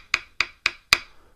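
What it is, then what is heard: Engineered hardwood floor, clicky and slightly hollow. An engineered hardwood plank floor is tapped four times in a steady rhythm. Each tap gives a short, bright, clicky knock with a slightly hollow quality and almost no low-end thud, and it dies away quickly.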